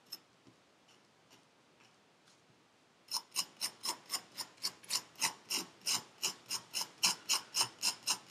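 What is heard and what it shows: A metal needle tool scratches the surface of purple kinetic sand packed into a paper cup. After about three seconds of near silence with a few faint ticks, roughly twenty short, dry, bright scraping strokes follow in a steady rhythm of about three to four per second. Each stroke is crisp and high with almost no low end, and it dies away quickly.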